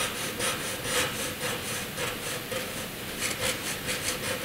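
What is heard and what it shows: A graphite pencil is drawn by hand in a dense zigzag line across a sheet of flat white drawing paper. The result is a steady, rhythmic run of dry scratching strokes, bright and hissy with little low end and a faint midrange tone.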